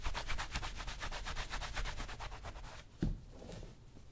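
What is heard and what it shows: A white cloth rubs and buffs the vamp and toe of a brown, solid-leather cowboy boot worn on a foot resting on a shoe-shine stand footrest. Quick, rhythmic swishing strokes with a bright, breathy edge repeat for almost three seconds, then a short low thump sounds and softer rubbing continues to the end.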